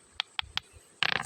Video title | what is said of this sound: Batu giok temuan sungai lukulo kebumen -- jadeite jade stone -- Batu giok -- Batu gigi petir -- | Bunyinya nyaring sekali karena ini sudah kristal.